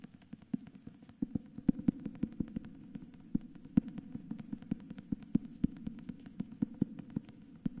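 Fingertips and nails tap and scratch the front cover of a cream, dust-jacketed hardcover book with a portrait on the cover, held tilted in both hands. A steady run of quick, dry, low taps sits over a soft papery scratching, with each tap dying away instantly and no ring.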